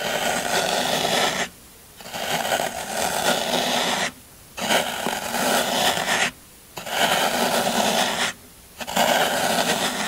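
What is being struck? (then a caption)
Floral foam block scraped with a metal tool. A hand pins a solid green floral foam brick while a metal scraper tool scrapes across its textured top surface. Five long, bright, crunchy scraping passes are heard, each separated by a brief pause of near silence.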